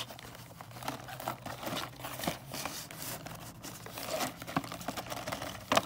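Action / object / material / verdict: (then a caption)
scrape / cardboard box with plastic window holding wrapped candy canes / cardboard / none. Long nails tap and scratch the back and then the front of a cardboard box of mini candy canes, with a clear plastic window and full of individually wrapped candy canes. The sound is a steady run of dry, crinkly scratching with light, quick taps that die away at once, and it grows a little louder toward the end with a sharper tap just before it stops.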